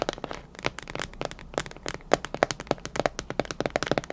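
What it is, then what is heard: Plastic food container tapped with nails. Long nails tap a clear plastic container with a clip lid, filled with colorful candy, in a quick, uneven run of about two dozen sharp clicks. Each tap is crisp and dry with almost no ring, carrying a hollow plastic tone around 590 Hz.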